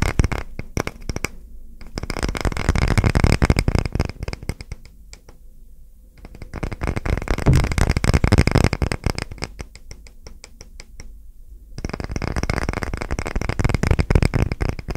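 Short nails and fingertips tap and scratch fast across a solid, round, textured wooden coaster held upright, making dense, dry clicks with a low thump and bright scratchy edges. The tapping comes in three busy bursts separated by quieter stretches of lighter scratching.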